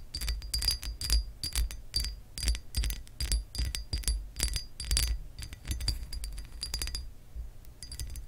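Long acrylic nails scratch and tap across the embossed surface of a textured glass lamp base, making a steady, irregular run of bright glassy clicks and scrapes. Each stroke carries a thin, high ring over a low background rumble. The sound quiets briefly near the end before a few more scratches.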